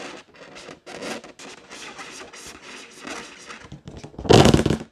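Long nails tap and scratch the side of an inflated pink latex balloon, hollow and air-filled. Soft, rubbery taps and scratchy rubs repeat in short bursts, ending in a louder, bright, crackling scrape.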